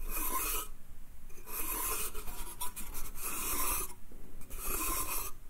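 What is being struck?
Small pine slatted crate.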